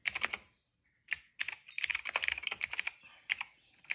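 Fingertips of both hands type steadily on a retro-style cream plastic mechanical keyboard with dark and purple plastic keycaps and a hollow case, resting on a rug. Bright, sharp clacks cluster around 2.4 kHz and die away almost instantly, in quick bursts with a short pause near the start and another near the end.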